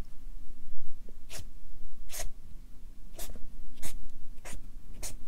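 A Sharpie marker draws small circles and sun rays on a stack of white paper on a clipboard, its felt tip rubbing the paper. Short, bright, scratchy strokes come at a steady pace over a soft, low background rumble.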